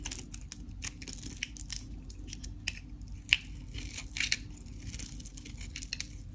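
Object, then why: Soap bar. A craft knife scrapes and cuts along the face of a solid, dry white Dalan soap bar with a pink painted rind, held in the hand. Quiet, bright, crunchy scraping and crackling ticks come as flakes and shavings break away, with a few sharper cracks.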